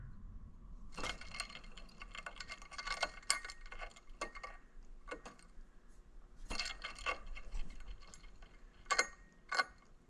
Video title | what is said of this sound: Land Rover A/C Pump Repair | you kind of got to bang on, but you can hear. Doesn't sound great.